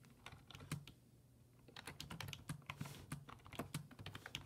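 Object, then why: Plastic computer keyboard. Fingertips type rapidly on the low-profile keys of a black plastic full-size desktop keyboard resting on a wooden desk. Quick, sharp clicks with a low thock come in bursts, with a brief pause in the first half before the typing picks up again.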